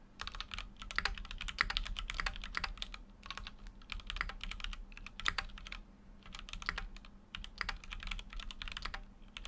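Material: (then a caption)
Plastic. Fingertips type rapidly on a full-size Keychron Q6 mechanical keyboard with an aluminum case and dark plastic keycaps, resting on a desk mat. Many short, bright key clacks come in quick bursts with brief pauses, each dying away at once over a low steady hum.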